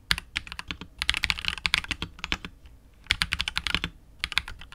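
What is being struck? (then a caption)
Mechanical keyboard with PBT keycaps and plastic case. A KBD67 Lite R2 65% mechanical keyboard with KTT Wine Red switches, a hollow clear polycarbonate case and PBT keycaps is typed on continuously with the fingertips of both hands. Rapid, bright, clacky keystrokes come in dense bursts, each dying away almost instantly, with a brief lull near the middle before the typing resumes.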